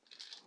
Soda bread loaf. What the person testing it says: it sounds hollow, and that means it's done